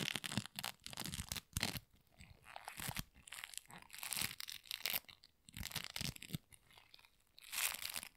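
A flattened sheet of sticky pink polystyrene bead floam is stretched, torn and squeezed by gloved fingers. Dense, bright crackling and crunching comes in bursts, with sticky tearing sounds and short quieter pauses between squeezes.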